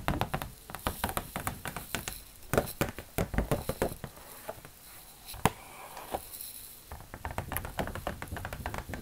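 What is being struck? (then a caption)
Folded laminated paper chart tapped with plastic nails. A thin, stiff, folded laminated medical reference brochure is held up and tapped with long plastic fake nails. Quick, sharp clicks and light patters come in irregular bursts, with soft crinkling of the laminated sheet between them and a few louder cracks.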